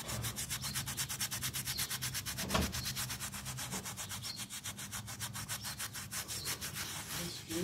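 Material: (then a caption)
Fabric pile. A small, round, soapy miniature pile carpet resting on a tile floor is held by fingers and scrubbed with a yellow toothbrush. Rapid, evenly spaced back-and-forth strokes make a bright, bristly rasp with a low rumble beneath, and one slightly louder knock comes partway through.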